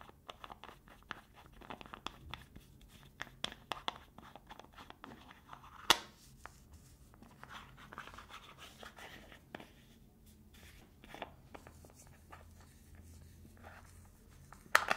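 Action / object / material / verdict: tap / small plastic jar lid / plastic / none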